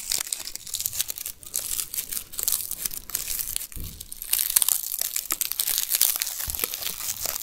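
A whole, solid yellow onion with dry papery skin is held in both hands while fingertips and nails rub and scratch its skin. A steady stream of bright, crisp crinkling and scratchy crackles fills the clip, with dense short snaps and little low end.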